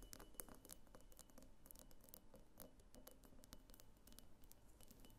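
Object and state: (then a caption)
Glass vase tapped with fingernails. Long fingernails tap a medium, hollow pink glass diffuser vase on its pink body and its thick clear glass base. Quick, dry, bright clicks come in rapid, irregular runs over a steady low background rumble. The taps are quiet and die away almost instantly.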